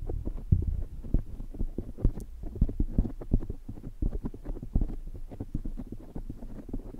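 Fingertips of both hands rub and squeeze a soft, porous black foam windscreen on a microphone, then the palms cup it at the end. The result is a dense run of muffled, low thumps and rumbling scratches, with almost all the energy down low and no bright highs.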